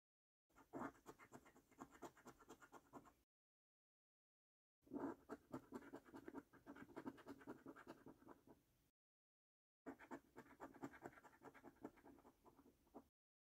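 A coin edge scratches the latex coating off the symbol boxes of a flat, thin cardboard paper scratch card. Three quiet bursts of dry, rapid scraping are heard, each lasting a few seconds and separated by short silences. The scraping has a gritty, mid-range texture.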